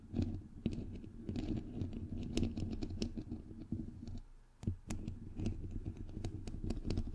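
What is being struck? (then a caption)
Metal mesh microphone grille. Fingernails tap and scratch on the white perforated metal mesh grille of a bare, hollow microphone head. The result is a dense run of sharp, quickly damped clicks over a close, heavy low-frequency rumble and scraping texture, with a brief quieter gap just after four seconds.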